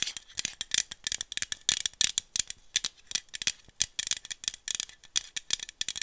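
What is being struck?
Small aluminum bottle with screw cap.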